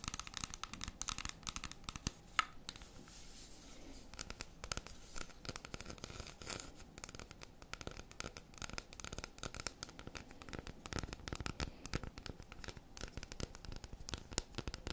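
Long red acrylic nails scratch and tap across the segmented surface of a solid, unwrapped dark chocolate bar held in both hands, then grip its edges. The result is a quiet, steady stream of dense, dry clicks and scratchy rasps with a faint tonal ring around 1.3 kHz and a bright, crisp top.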